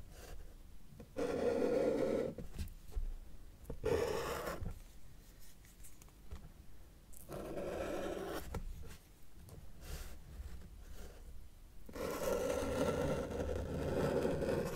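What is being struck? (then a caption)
Felt-tip marker on a paper sheet. A felt-tip marker tip is drawn across a flat white paper sheet on a table, held flat by the left hand, while outlining an elephant. Bursts of soft scratching and rubbing strokes come and go with pauses between them, each stroke carrying a faint mid-pitched squeak.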